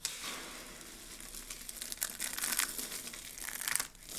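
A pile of mixed pink, blue and white dry soap flakes is scooped and squeezed by hands with long nails. A steady bright crinkling and crunching runs throughout, with sharper crackling bursts near the middle and end before a brief quiet dip.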